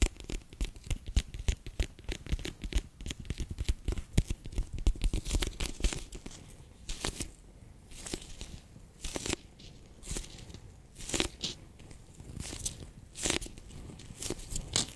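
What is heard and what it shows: A handheld, bear-shaped clear PVC pouch full of orange water beads is squeezed, pressed and scratched with fingertips and long nails. Dense, sticky crinkling and squishy crackles fill the first six seconds, with a heavy low thump beneath them. The rest turns into quieter scratching broken by sharp, bright crackling bursts.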